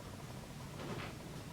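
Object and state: Nothing is struck.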